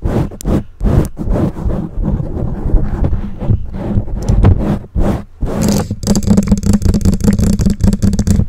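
Long nails and fingertips of both hands scratch and rub the black foam windscreen on a condenser microphone. The result is a dense, muffled scraping and rustling heavy in low rumble, with a steady low hum underneath. After a brief pause near the middle, the scratching turns faster and more crackly.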